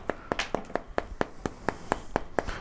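A rotten, beetle-eaten wooden floor timber, hollowed out inside to a shell as thin as a single wall of cardboard, is tapped about a dozen times at an even pace. Each tap gives a short, dry, papery knock with a hollow midrange tone and almost no ring. Sawdust falls out of the timber as it is tapped, showing the wood is rotten inside.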